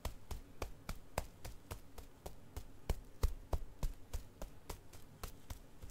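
A single striped Goodnites XL disposable pull-up diaper, hollow and unused with a crinkly plastic outer layer, is held in one hand above carpet and tapped from below with the palm and fingers of the other hand. About 21 quick, somewhat uneven taps land at roughly three per second, each a short, dull low thump with a faint bright crinkle that dies away almost at once.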